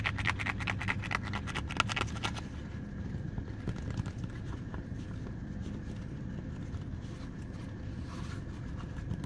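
Fingertips and short nails tap and scratch the sole of a running shoe, a textured rubber and foam sole in yellow, blue and grey, and run over its nubs. Quick, crisp taps come first, then give way to softer, steady scratching with a bright edge. A low rumble runs underneath throughout.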